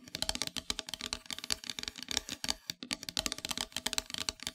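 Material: Wood.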